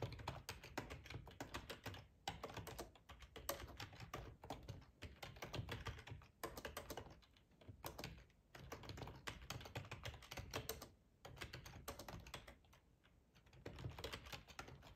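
Fingertips of both hands type on the keys of a black plastic ergonomic split computer keyboard with a hollow housing, lying on a tablecloth. Dense runs of quick, hollow clacking taps with a low thump come in bursts separated by brief pauses throughout.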